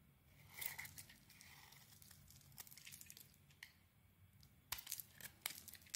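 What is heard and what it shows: A utility knife blade carves the edges of a cream and red rectangular solid soap bar. Soft, bright scraping and crumbly shaving sounds run throughout, with a few sharper crisp snaps toward the end.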